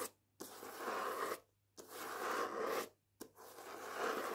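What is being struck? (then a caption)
Paper dust jacket on a hardback book. Long painted nails scratch and rub the matte paper dust jacket on the front and back of the hardback book "Jews Don't Count." Three dry, papery scraping strokes rise in quick, grainy bursts centered in the midrange, with brief silent pauses between them.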